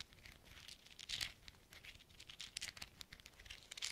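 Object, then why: Small metal thimbles. Small hollow silver metal thimbles worn on black-gloved fingertips are pattered and tapped against each other. The result is a quiet, rapid run of bright, crinkly metallic clicks, with a few louder taps standing out. Each click is very short and dies away almost at once.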